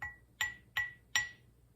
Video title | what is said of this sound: Haul 56: That's a Nice Surprise! | I'm not even sure if this is metal or ceramic it's actually sounds like metal